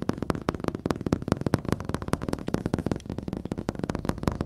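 A large wall-mounted flat-screen TV with a solid, glossy black glass panel is tapped and scratched with fingertips and nails, recorded up close. A rapid, steady run of short, dull, low taps comes through with very little ring, and soft scratching fills the gaps between them.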